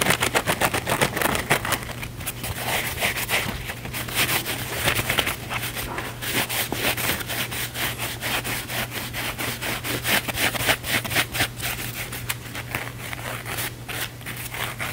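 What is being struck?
Cellulose kitchen sponge with scouring pad.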